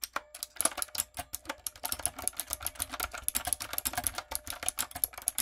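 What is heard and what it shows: A typewriter-style backlit mechanical keyboard with round brown plastic keycaps on a dark frame is typed on rapidly with fingertips and long coffin nails. Dense, crisp, bright key clicks and clacks follow one another with very short ring, and little low end.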